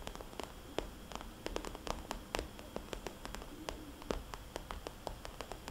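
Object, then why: Glossy plastic cosmetics bag. Fingernails on both hands tap and trace circles across a small red polka-dot glossy plastic cosmetics bag lying flat as a hollow pouch. A quick, irregular series of sharp, clicky taps with a short hollow ring sounds over a soft, steady scratchy hiss and a low rumble, all at a quiet level.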